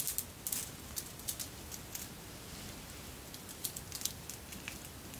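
A long necklace of red and clear beads, apparently glass, with silver metal links, is held up and fingered so the beads clink together. Quiet, bright, short clicks and ticks come in irregular bursts over a soft, low, rumbling background.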